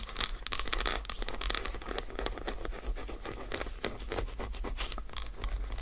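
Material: Chocolate.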